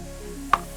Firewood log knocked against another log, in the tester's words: It doesn't have that dead sound of like a baseball bat.